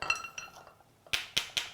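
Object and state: Live fresh clams, solid not hollow.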